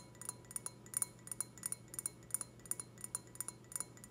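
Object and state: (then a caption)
Glass wine glass. Long red fingernails tap and scratch on the bowl of an empty, clear, stemmed wine glass. About twenty-two quick, bright clinks follow one another, each with a very short, faint glassy ring. A steady, quiet low hum sits beneath them.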